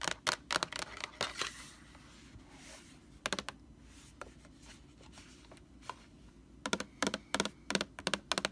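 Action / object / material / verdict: tap / large plastic laundry sanitizer jug / plastic / none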